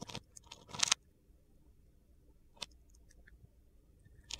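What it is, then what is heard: Bar of soap being carved. A utility knife blade scores and cuts a grid into the surface of a hand-sized solid blue bar of soap held in the palm, with the shavings piling up beside it. Short, bright, crunchy and gritty scrapes come in bursts, the loudest near the start, with quieter cuts later over a faint low background.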